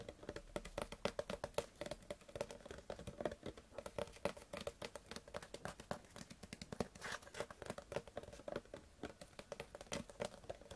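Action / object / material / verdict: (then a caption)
tap / partly filled plastic water bottle / plastic / none. Long fingernails tap rapidly and continuously on the ribbed side of a clear PET Bezoya water bottle, held upright and partly full of water. Each tap is a short, crisp plastic click with a bright edge and almost no ring. A faint hollow tone sits beneath the dense patter.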